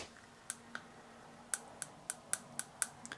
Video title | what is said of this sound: How to sharpen a wood plane - Part 3 | that little sound will tell you if it's a good steel or not